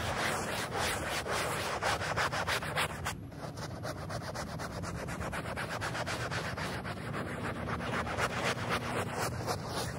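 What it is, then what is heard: Printed polyester rug being scrubbed. A small handheld bristle brush scrubs a flat, thin, wet, rectangular printed polyester rug with a space print, very dirty and muddy and covered in soap foam, in short strokes. The result is a continuous, rapid, wet rubbing and swishing at roughly four strokes per second, with a brief dip in loudness around three seconds.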